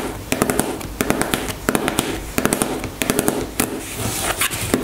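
Long nails tap and scratch a white plastic cosmetic squeeze tube lying on a table. Quick bursts of sharp, bright clicking taps sit over a continuous scratchy rustle, with short pauses between the bursts.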